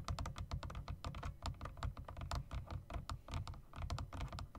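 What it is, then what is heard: Mechanical keyboard keys. Fingertips rapidly tap the long spacebar and bottom-row keys of a typewriter-style mechanical keyboard with round plastic keycaps and metal rims. The result is a fast, steady patter of short, clicky thunks with a deep, low body and brief bright ticks on top.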